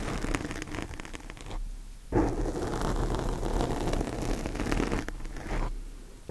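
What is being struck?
Foam microphone windscreen.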